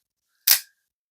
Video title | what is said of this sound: Microtech Combat Troodon gen 3 interceptor first impressions | there's quite a lot of slop in the button like I don't know if you can hear that I'm just like barely tapping on it